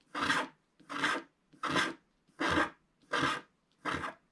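A wooden stick scrapes the red area of a stocking design on a flat, black-coated scratch-art sheet in six evenly spaced strokes. Each stroke is a dry, raspy scratch of about half a second, with a bright, papery texture and very little low end, separated by short silences.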